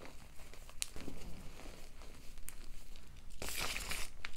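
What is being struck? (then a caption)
Gym chalk powder clumps. Hands with long nails squeeze, rub and crumble chalky clumps of white Ader and BSN block gym chalk into a heap of powder. Soft, close crinkling and gritty rubbing run throughout, punctuated by brief bright crunches. A denser, louder burst of crumbling comes near the end.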